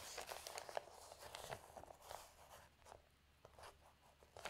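Both hands with long nails grab and turn the thin newsprint pages of an open paper newspaper lying on a table. The result is a run of crinkling, papery rustles with bright, broadband bursts. The rustles are loudest at the start and grow quieter and sparser toward the end.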